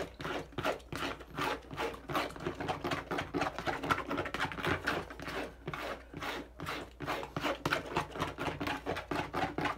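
Fingertips rapidly tap and scratch the curved side of a hand-held, hollow, medium-sized teal and dark blue plastic bottle. The result is a quick, uneven run of dry, papery taps and scrapes that die away almost instantly, with no lasting ring.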